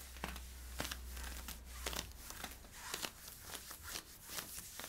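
Fingertips and nails scratch worn camo polyester-spandex stretch leggings at the hip and back. They make quiet, bright, raspy scratching strokes in an irregular rhythm, with a low steady hum underneath for the first half.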